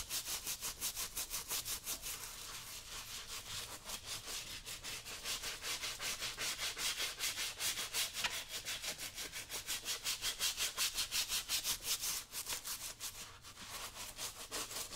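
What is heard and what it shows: A small stiff-bristle brush is scrubbed back and forth along the lower upper and welt of a brown leather work boot worn on a foot, while a yellow cloth is held aside without touching it. The brushing is a steady, fast, rhythmic scratchy rasp, bright and hissy with little low end, continuing throughout.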